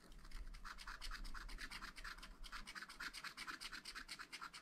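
A wooden stylus rubs and hatches the black coating off a sheet of scratch-art paper on a pad. It makes a fast run of short, dry, raspy scratching strokes with bright, hissy bursts. A steady low hum sits underneath, and the rhythm is quick but somewhat uneven.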